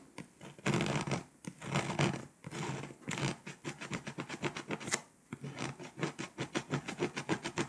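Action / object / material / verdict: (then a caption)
scrape / foil-coated paper scratch-off map / foil, paper / none. A pink scraper scratches the foil coating off Poland on a flat foil-coated paper scratch-off map, leaving foil flakes behind. Long, broad scraping strokes come first, followed by a steady run of short, rapid rasping strokes with a bright, gritty edge.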